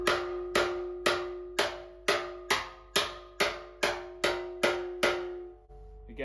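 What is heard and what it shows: A flat metal slapper tool repeatedly strikes the dented area of a large, thin, hollow sheet-steel car wing panel clamped in a vise, possibly with a gloved hand holding a dolly behind it. Twelve evenly spaced, sharp metallic hits each ring out with a steady mid-pitched tone and bright overtones that fade before the next strike. A brief quieter scrape follows at the end.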